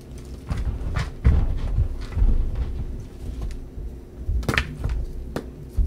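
Bare hands pick up solid white gym chalk blocks of magnesium carbonate, some pieces painted blue, from a heap of chalk powder in a dark bowl, then squeeze and crumble them between the fingers. The sound is a series of short, dull, low crunches and soft thuds, with a little brief bright crackle and almost no ring.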